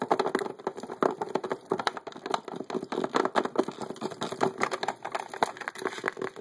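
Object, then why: Hard clear plastic case full of poker chips. A rectangular, transparent hard-plastic (acrylic-like) case full of poker chips, sitting on a table, is tapped rapidly on its lid and edge with the fingertips and nails of both hands by a player wearing metal rings. The result is a dense, continuous stream of sharp, dry clicks and taps with very short decay, centered in the midrange with almost no low end.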